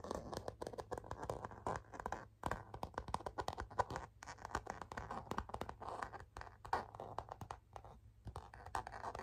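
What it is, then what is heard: Faux leather cosmetic pouch. A flat rose-gold metallic faux leather zip cosmetic pouch, hollow and seemingly empty, is scratched and tapped across its flat front with long natural fingernails. The result is a dense run of quick, dry scratching and tapping sounds centered in the midrange, with brief gaps between bursts.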